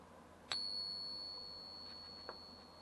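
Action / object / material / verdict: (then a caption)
tap / silver dollar coin / silver / real. A silver Morgan dollar set in a pocket pinger is tapped once with a stick, producing a clear, bell-like ring that sustains for over a second. A faint second tick follows near the end. The ring is confirmed as an authentic Morgan dollar, passing all three checks.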